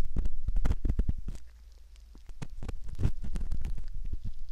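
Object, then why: Silicone ear model scraped by a metal ear pick. A thin curved metal ear pick scratches and scrapes inside the concha near the ear canal of a soft, skin-toned silicone ear model. Close, muffled scraping and rubbing strokes come in a quick, uneven patter, dominated by low, bassy rumble. The strokes briefly soften to a quieter stretch in the middle before picking up again.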